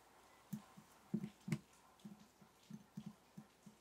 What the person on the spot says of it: 6:45 – Tapping match stick jar (glass tapping)